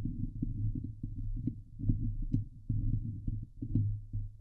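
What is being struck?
Steel mesh microphone grille.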